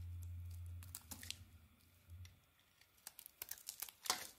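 A small metal blade carves a solid tan bar of soap, cutting away chunks and curls. A low hum fills the first second, then about ten crisp, bright scraping cuts and crackles follow. The last cut is the loudest, each sound ends almost at once, and the overall level stays quiet.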